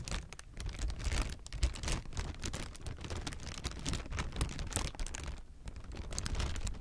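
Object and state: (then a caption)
Plastic air cushion packaging being crinkled. A clear, air-filled plastic air-pillow packing strip is held in both hands and squeezed and crinkled. Dense, continuous crackling and crinkling runs throughout, with bright, sharp snaps over a heavy low rumble and small swells in loudness.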